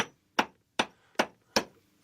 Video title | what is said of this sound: Burghley House 攀爬伟大建筑 | becomes Hollow doesn't it starts to ring